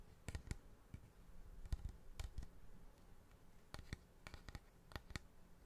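A large, curved, hollow polished cattle horn is held close to the microphone and tapped and scratched along its surface with fingertips and nails. About 15 short, sharp clicking taps are heard in irregular clusters, each dying away almost instantly, over a soft, low scratching rustle.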